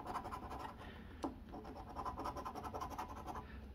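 The edge of a copper coin scratches rapidly across the latex coating of a flat cardboard Arkansas Lottery Double Cash scratch-off ticket resting on a wooden table. The result is a steady run of quick, dry, rhythmic scraping strokes with a slightly sharper scrape near the middle. The tone is dull and mostly low-to-mid, with little bright content.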